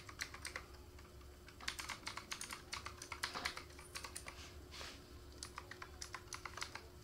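Both hands type with their fingertips on the keycaps of a black plastic K28 mechanical keyboard resting on a foam mat. The result is a quick, uneven run of sharp, bright clacks that die away almost instantly, with denser flurries in places. A faint steady hum sits underneath.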